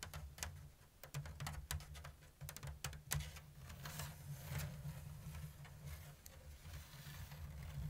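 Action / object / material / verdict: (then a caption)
tap / woven bamboo basket / bamboo / none. Long blue nails tap and scratch the open diamond weave of a round, hollow basket made of thin woven bamboo strips. Quiet, sharp, bright clicks mix with dry scratching over a steady low hum, and each tap dies away quickly.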